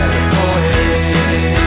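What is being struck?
Nothing is struck.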